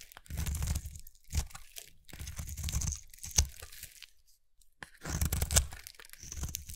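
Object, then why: Soap bar scraped with a metal blade. A short metal blade scrapes a solid, palm-sized bar of translucent red soap held in one hand, peeling off thin curls. Three long, crunchy, tearing scrapes carry a low rumble under a bright hiss, with sharp clicks and quieter strokes between them.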